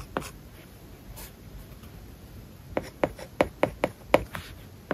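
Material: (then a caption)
Plastic film. A plastic stylus writes words on an iPad lying flat, with a matte plastic paper-like film over its glass screen. After one early tap and a long, quiet stretch of faint scratching, a quick run of short, dry, sharp taps and scratches builds in the second half.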